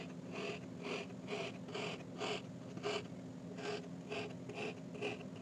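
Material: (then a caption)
Sand. A metal fork repeatedly pokes and stabs rows of holes into a flat, hand-sized, heart-shaped slab of solid pink kinetic sand resting on a white surface. Each stab gives a soft, gritty crunch with a bright, airy edge, recurring at a steady but loosely timed pace over a low, constant hum.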